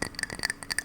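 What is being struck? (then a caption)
Ceramic mug. A ceramic mug on a desk is tapped in a quick series of light taps. Each tap makes a bright, glassy clink with a tone near 1.8 kHz and higher overtones, dying away almost instantly with little low end.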